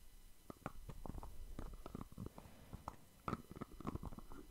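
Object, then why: Small plastic cosmetic jar. Fingertips tap and scratch the white lid and teal sides of a small round plastic cosmetic jar held in one hand. The result is a quiet, steady string of soft, dull, mostly low taps with short dry clicks and faint scratchy rubbing, and no ring after each touch.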